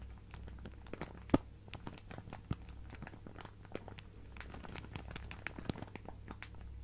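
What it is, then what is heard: Plastic zip bag of fabric scraps. A clear plastic zip-lock bag full of fabric scraps is held flat in both hands and crinkled and scratched with fingernails. The result is a quiet, continuous bed of soft crinkling and fine scratching, dotted with short, dry crackles and one sharp, brighter snap early on, all over a steady low hum.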